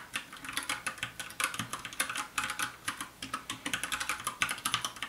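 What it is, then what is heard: Plastic mechanical keyboard. Fast two-handed fingertip typing on a compact 60% black plastic mechanical keyboard with a hollow case. It makes a rapid, uneven patter of bright, sharp clicks centered around 1.5 kHz, each decaying almost instantly. Faint music may sit underneath.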